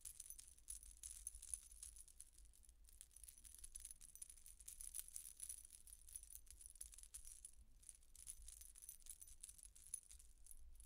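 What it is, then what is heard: Metal coin-disc necklace being shaken. A silver-coloured metal coin-disc statement necklace is held up in the hands while fingers and nails shake and rattle its thin dangling metal discs and chains. The result is a quiet, steady stream of bright, high jingling and clinking for about eleven seconds, with brief swells of louder shaking over a faint low rumble.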